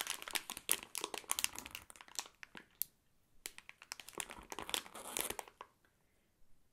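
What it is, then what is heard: Crinkling plastic candy bag. A full Fruity Farm gummy candy bag made of clear, printed plastic film is handled and squeezed by fingertips. It makes dense, bright crinkling in quick, sharp bursts, with a brief lull near the middle. The crinkling fades to a few faint rustles at the end.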